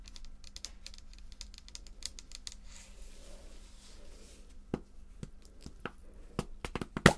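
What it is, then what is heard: Plastic pump bottle tapped with nails. A tall red plastic foaming cleanser pump bottle, about 150 ml, with a white pump cap, hollow and likely partly full, is tapped rapidly with long nails on its body and cap. Quick, light clicks and taps patter throughout over a low steady hum, with a soft swishing stretch in the middle and a few sharper, louder taps toward the end.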